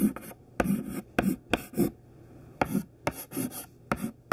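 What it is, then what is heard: Chalk writing on a chalkboard. Thin white classroom chalk held in the fingertips writes capital letters on a smudged black chalkboard. Short scratching strokes come in separate bursts with brief pauses between them, each a dry, bright scrape over a soft low body with almost no ring.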